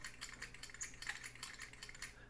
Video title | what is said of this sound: F-14B Tomcat- UNBOXING! A Ton of Details!! (JC WINGS) | metal clinking sound sounds like metal on metal so kind of cheap